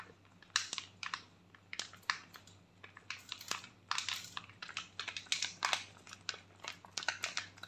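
A foil sachet with a face mask inside is crinkled and scratched with long nails, close up. Quick, bright crackles and scratchy rustles come in uneven bursts, each dying away almost at once, over a faint low hum.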